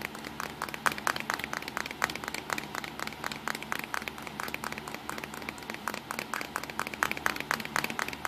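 Fingertips tap rapidly on the top edge and front of a small black plastic Nikon compact digital camera with a hollow body. The result is a steady, quick stream of dry, hollow clicks that stop almost instantly, centered around 1.5 kHz with a bright edge and almost no low end.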